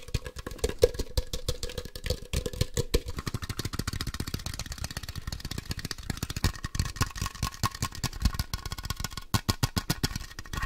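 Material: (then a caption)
Plastic. A hollow plastic Ultra Ball Poke Ball toy is tapped quickly on its white half shell with fingertips and nails, making a dense run of sharp clicks and dull knocks. The taps ring out almost instantly, with a faint hollow tone near 490 Hz at the start and a brighter, clickier edge later on.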